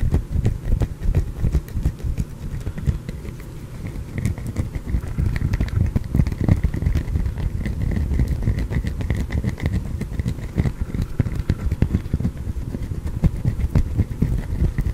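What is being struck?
Glycerin soap bar.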